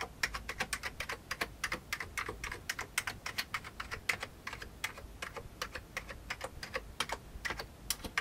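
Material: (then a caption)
Plastic. An index finger taps individual keys on an old beige plastic computer keyboard, producing about 46 quick, crisp clicks over eight seconds. Each tap is short and bright with almost no ring, and the steady, uneven rhythm sounds like relaxed typing.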